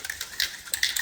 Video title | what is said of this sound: Cybertruck core wheel install and hub rust removal | you want to shake it until you hear the ball rattling inside.